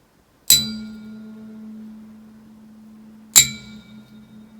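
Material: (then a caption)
Steel. Two steel cylinder head studs from a VW Vanagon/T3 Waterboxer engine are each tapped lightly with a metal tool in a ring test, producing two bright metallic pings. The first, from the left stud, rings on with a steady tone for several seconds and is judged good. The second, from the right stud, dies away sooner with a duller ring and is judged faulty, likely from a small crack.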